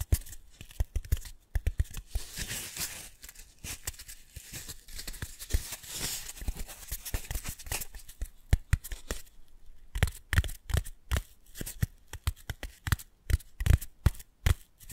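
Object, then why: Small solid foam cylinder. Long manicured nails scratch fast over a pair of identical small, solid, pale pink foam cylinders, one held near each microphone. A dense run of quick, dry scratching with a bright, airy rasp fills the first half, then gives way to sparser, sharper scratches and ticks with short gaps between them.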